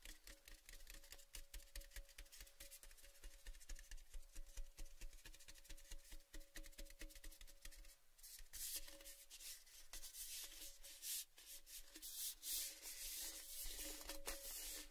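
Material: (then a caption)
Painted metal. Fingertips and nails rub and scratch along the painted side of a tall, red, cylindrical metal Baileys gift tin, which is empty, open-ended and held tilted. Dense, uneven scraping and tapping fill the clip, with a faint steady tonal hum throughout and brighter, harsher scratching after about eight seconds.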